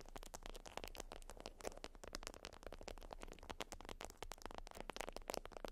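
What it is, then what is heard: Beeswax wrap (wax-coated cotton) scratched with nails. A flat, folded beeswax wrap of wax-coated cotton is scratched by long acrylic nails, giving a dense run of quick, dry crackling scrapes with bright, papery edges. The nail strokes come close together over a steady low rumble, each one stopping short with no ring.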